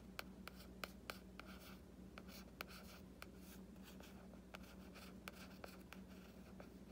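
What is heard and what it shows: A fingertip and short nail trace and scratch over the illustration on the printed board cover of a solid hardcover book. Quiet, steady scratching and rubbing carries about 13 short, sharp taps or clicks that die away almost at once. A constant low hum sits underneath throughout.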